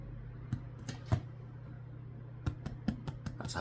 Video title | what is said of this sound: How to Make Delicious Bread 🍞 | tap on the bottom to know if it's done. Sounds hollow. It's done.